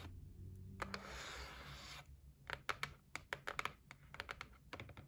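Long nails tap quickly on the lid edge of a closed white cardboard gift box resting on a wooden table. A soft, steady scratching hiss comes first, then a run of sharp, dry, bright clicks that stop instantly over a faint low hum.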